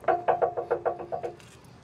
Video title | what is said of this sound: 2023 Honda Pilot Trailsport is a real off road capable 3 row family SUV. Detailed review and drive. | This is the sound of steel. Now, this is the real steel, real deal.